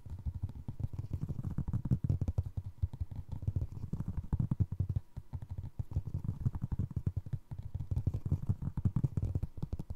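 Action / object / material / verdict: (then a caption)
scrape / foam resin clog sole / foam resin / none. A single navy blue foam resin Crocs clog has its ridged sole tread scratched and tapped with fingers. The result is a steady stream of soft, dull, low-pitched taps and scrapes with a deep, muffled thud. The sound pauses briefly now and then.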